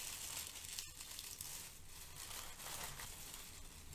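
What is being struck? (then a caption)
Crinkle-cut kraft paper shred. Fingers with long nails pick at and scrunch strands of brown crinkle-cut kraft paper shred, producing a steady, crisp crinkling and rustling. The sound is bright and airy over a faint low rumble, with no distinct separate hits.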